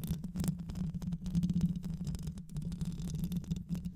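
Long nails scratch the mesh grille of a black hollow microphone, likely metal, throughout the clip. The result is a continuous low, rumbling scrape centered near 170 Hz, with many short bursts of rustling texture and occasional brighter scratchy flicks.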